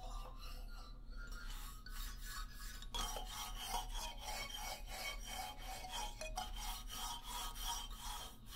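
Fingertips and nails of both hands scratch across the solid hardwood bars of a wooden xylophone lying flat. The result is a continuous dry, rasping rub in quick repeated strokes, bright and hissy on top over a steady low hum, staying at an even, quiet level throughout.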